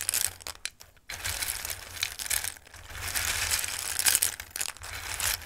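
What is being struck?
Dried pasta pieces in a bowl.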